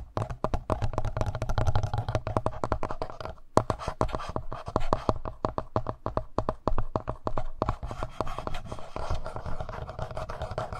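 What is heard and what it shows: Fingertips and short nails scratch and tap rapidly on the front panel of a handheld black plastic Tascam audio recorder. Dense, dry clicks and scratches with almost no ring sit over a low, muffled body, with a brief pause near the middle before the tapping resumes.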